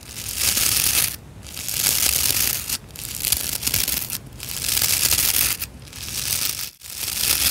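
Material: Nylon.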